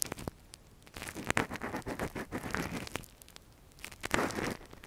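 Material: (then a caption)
Silicone. A gloved hand scratches inside the hollow canal of a soft, translucent silicone ear model, a binaural microphone cover, with a thin metal earpick. Dry, crackly scratching and rustling come in dense bursts, loudest between about one and two and a half seconds and again near four seconds, separated by quieter pauses.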